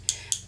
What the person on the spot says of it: if you hear that clicking noise it's actually um a ball mixing or bead mixing up your color